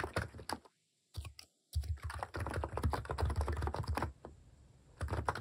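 Fingers type on a compact plastic mechanical keyboard with plastic cat keycaps, producing quick, irregular clicks and thocky low taps with a bright top edge. A short pause at about one second and a longer gap near 1.5 seconds break the flow before dense, steady typing resumes and then eases off.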